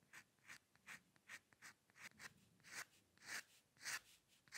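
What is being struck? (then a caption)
Steel pen nib on drawing paper. A steel-nib dip pen with ink scratches fine hair strokes across a flat sheet of white drawing paper on a dark table. Twelve short, bright, raspy scratches come in an uneven rhythm, each a quick stroke that fades almost at once. They are centered near 2 kHz with hiss reaching high, with almost no low end.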